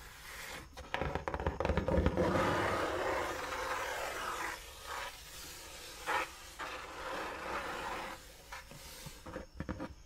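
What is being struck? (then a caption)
Cardboard shoe box. A large, empty-looking brown cardboard Dr. Martens shoe box is held upright while fingertips and long nails rub and scratch its flat side. The result is a dry, papery scraping with bursts of quick taps and scratches, swelling and fading over a soft low rumble.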